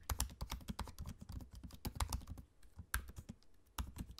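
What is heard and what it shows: Both hands type steadily on a laptop keyboard with plastic keycaps set in an aluminium body, fingertips tapping the keys up close. The result is a quick, continuous patter of short, soft clicks with a dull low thump under each keystroke, easing briefly in the middle before picking back up.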